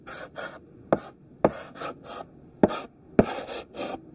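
A thick pink sidewalk chalk stick held in the hand scrapes across a flat black chalkboard, drawing overlapping squares in rough strokes. Each stroke is a burst of bright, hissy scratching, and a few begin with a sharp tap as the chalk meets the board, with short quiet gaps between.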